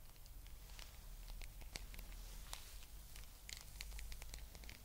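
Long nails scratch and fingertips rub over the spikes of a small blue rubber spiky massage ball held close to the microphone. Quick, bright, dry scratches and soft rubbery rubs come in a steady, close stream over a constant low hum.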